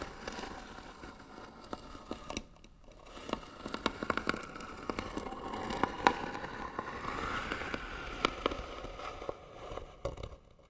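Short fingernails on one hand scratch the lid of a hollow white wooden box with bead trim. The result is a dry, steady rasping crackle centred near 1 kHz, broken by many sharp, quick clicks and brief louder scrapes that die away almost at once.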